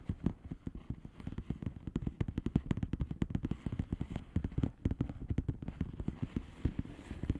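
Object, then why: Plastic bubble wrap envelope. Long painted fingernails of both hands tap rapidly on the air-filled bubbles of a flat blue plastic bubble wrap envelope. A dense, uneven stream of short, soft, dull clicking taps is heard, mostly low in tone with brief crackly edges. Each tap dies away instantly, with no ring.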